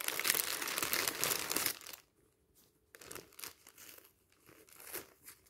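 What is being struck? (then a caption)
Thin clear plastic film wrapper. A thin, hollow, empty clear plastic film magazine wrapper lying on a stack of magazines is pressed, squeezed and crumpled by fingertips and palms. A dense, bright crinkling fills the first two seconds, then quieter, scattered crackles follow after a short pause.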